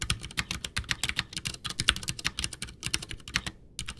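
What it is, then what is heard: Plastic mechanical keyboard being typed on. Both hands type with their fingertips on a full-size white plastic Ducky One 2 mechanical keyboard with Cherry MX Brown switches, backlit, with a hollow case resting on a desk. The keys are pressed and tapped in a fast, steady stream of bright, crisp clacks with a soft low thock beneath. Each keystroke dies away almost instantly, with a brief pause near the end before typing resumes.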